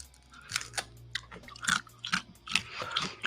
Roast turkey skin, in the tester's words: hear how crispy that is